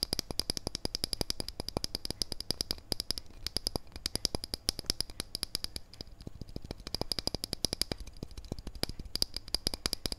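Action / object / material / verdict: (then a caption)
tap / steel wristwatch case / steel / none. Fingernails rapidly tap and scratch the steel case of a wristwatch held edge-on. The result is a fast, continuous stream of sharp, dry metallic clicks with a bright, high metallic tone and almost no ring after each hit.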